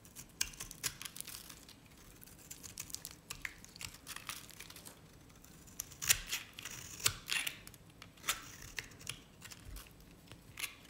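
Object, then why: Bar soap shaved with a knife. A knife blade shaves the surface and edge of a stamped, cream-colored, dry solid bar of Nevskaya Cosmetics soap into strips. The result is a quiet, irregular run of crisp, bright scraping and crackling cuts with almost no low end, each snapping off short and dry with the sharpest cuts in the second half.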